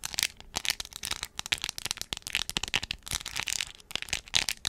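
Long acrylic nails tap and scratch over a hand-sized, hollow plastic Hello Kitty phone case covered in crystal rhinestones with a resin bow and face. The result is a dense stream of quick, bright, dry clicks and gritty scratches with almost no low end.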